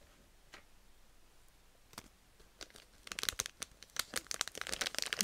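A pink Petit Rinka chocolate bag made of plastic and foil film, full of candies, is held, crinkled and tapped with long red nails. A few faint, sharp ticks over the first three seconds give way to dense, bright, crackling crinkles that grow louder toward the end.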